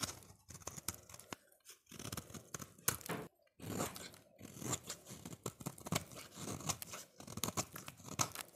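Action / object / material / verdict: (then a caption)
scrape / translucent soap bar shaved with a blade / soap / none. A solid orange translucent soap bar, held in hand, is shaved and scraped with a utility-knife blade as curls peel off. Dry, crunchy scraping and tearing strokes come in quick bursts, with bright, hissy texture and short pauses between passes. Each stroke is close and crisp and stops with almost no ring.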